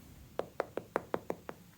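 Seven sharp taps on a homemade ice cream cake fresh from the freezer, showing it is frozen solid. Each tap is a short, dry knock centered around 480 Hz with almost no ring.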